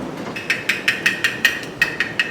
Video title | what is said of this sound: PRESSURE CANNING Tutorial // How to Pressure Can Tomato Sauce | it sounds very much like tin that means it's good